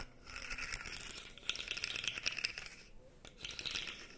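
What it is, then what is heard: Plastic articulated fidget toy. A light-blue plastic articulated fidget slug toy has its segments compressed and bent with the fingers, producing dense, rattling plastic clicks. The clicking is bright and concentrated high, centred around 2.5 kHz with little low end. It comes in bursts with brief lulls near 1.4 seconds and between about 2.9 and 3.3 seconds.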